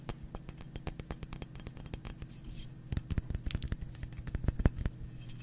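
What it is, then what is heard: Paraffin wax block. A solid, translucent white paraffin wax slab about the size of a hand is held and tapped and scratched with fingertips and nails. Many quick, dry clicks sit over a steady low hum, growing denser and a little louder toward the end.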